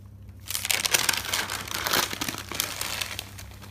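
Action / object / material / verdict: scrape / thick paper notebook / paper / none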